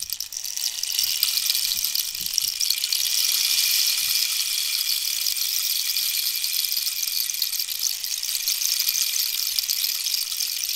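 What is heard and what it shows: A long, hollow rainstick made of dried wooden cactus, with a rainbow-banded end, is tilted so its inner filling cascades while long nails scratch its surface. The result is a steady, bright, hissing rush like falling rain that lasts the whole clip, with faint low thumps early on.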